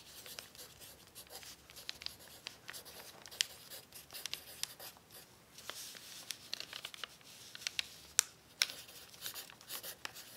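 A pencil tip scratches across a thin, crumpled brown paper sheet resting on a table while writing. The sound is quiet, bright, dry scratching and crinkling, with frequent sharp, short ticks and crackles and almost no low end.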